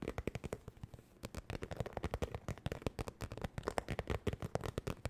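A medium, hollow zippered makeup bag with an iridescent, textured holographic vinyl cover is held up and tapped and scratched with long nails. About 35 fast, dry, crackly taps and scrapes sound with almost no ring, pausing briefly near the one-second mark. Each hit is a hollow thump with a papery, bright edge.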